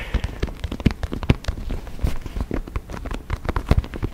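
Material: Synthetic leather.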